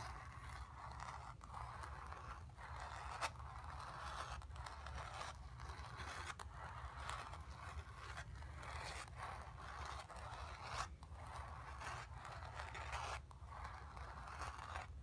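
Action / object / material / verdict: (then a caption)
scrape / stretched painted cotton canvas / cotton canvas / none. Long pink nails scratch across the painted area of a stretched cotton canvas bearing a painted grey sphere, set on a hollow frame. The result is a steady, dry scraping with a midrange hiss, brief pauses between strokes, and a low rumble underneath throughout.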